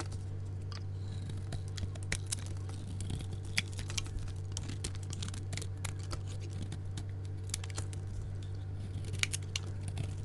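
A solid white bar of soap, held in a hand with long nails, is scraped and carved with a metal utility knife blade, shaving off curls. Many short, bright, crisp scraping and crackling strokes sound over a steady low hum.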